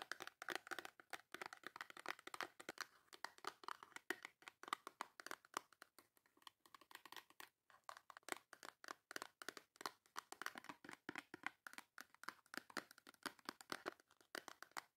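Long nails tap and scratch the front of a full, small white cardboard Dove soap box. Quick, dry clicks and crinkly scrapes run in dense, uneven bursts with brief pauses. The sound is bright and papery with no low end, and each tap dies almost instantly.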